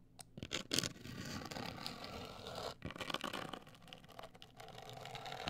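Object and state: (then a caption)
Cardboard box. Long acrylic nails scratch and tap a medium-sized, hollow, black printed rigid cardboard cosmetic box. A few sharp, bright taps open the clip, then a steady dry, hissy scratching follows, broken by a brief pause and a few more quick clicks before the scratching resumes.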